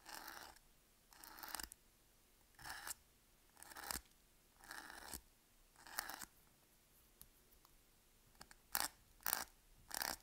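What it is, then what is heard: Bar soap scratched with a blade. The tip of a utility knife blade scores and scratches lines into the surface of a solid, palm-sized green Palmolive bar soap held in one hand. Six drawn-out, dry, hissy scraping strokes are separated by silence, followed by a few faint ticks and three shorter, sharper scratches at the end. The sound is quiet, bright and crisp, with almost no low end.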